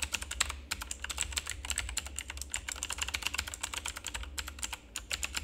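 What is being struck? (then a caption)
Plastic mechanical computer keyboard. Fingertips of both hands rapidly press and tap the keycaps of a full-size, backlit plastic RGB mechanical keyboard with a hollow housing. The result is a dense stream of short, bright, clacky clicks that stop almost instantly, over a steady low hum.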